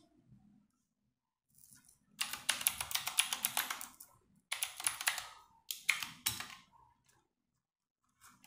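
Fingertips with long nails type rapid key presses on a compact 60% RGB-backlit mechanical keyboard with plastic keycaps, resting on a wooden desk. Dense bursts of bright, sharp clicks with very short decay come in quick runs separated by brief pauses, then fade to a few scattered taps.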